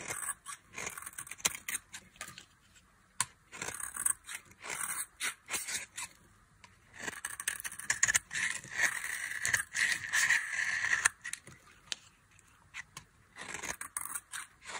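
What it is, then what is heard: Dry soap bar being carved. A metal knife scrapes and carves flakes off the end of a solid, palm-sized bar of dry beige soap held in the hand. Short, bright, crunchy scraping bursts come in uneven clusters with quiet gaps between them. A longer stretch of strokes in the middle carries a faint whistling edge around 1.8 kHz.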